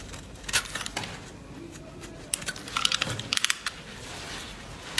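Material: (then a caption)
Soap. An oval green bar of solid soap, held in the palm, is scraped and carved with a small blade by a hand wearing fabric finger guards, with flakes falling onto a wooden table. Bright, dry crackling scrapes sound over a faint hiss. A quick burst of sharp, crisp snaps comes in the middle as pieces break away.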